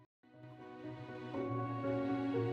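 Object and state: Nothing is struck.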